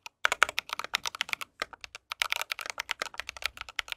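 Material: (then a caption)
Plastic. Fingertips of both hands type steadily on an RGB mechanical keyboard with white plastic keycaps and a metal case. Rapid, sharp, bright clacks come in quick bursts with a brief pause around the middle, each keystroke stopping dead with no ring.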